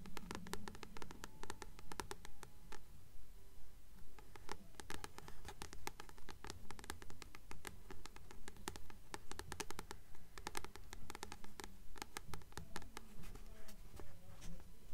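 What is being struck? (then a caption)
Paperback book with cardstock cover. Long nails tap in a quick, steady patter on the glossy cardstock cover of a blue paperback copy of "Practical Magic" held upright. The taps are crisp, dry clicks with bright edges that stop almost at once, over a faint low hum.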